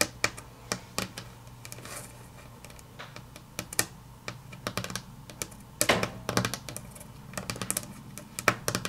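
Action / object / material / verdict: tap / wood-grain laminate tabletop / laminate / none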